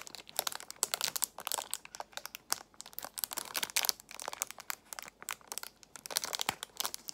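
A clear plastic box of nail tips in a cellophane wrap is squeezed and scratched with long nails. It makes bright, crisp crinkling and crackling in quick, uneven bursts across the clip. Sharp ticks and scratchy rustles come through with almost no low end.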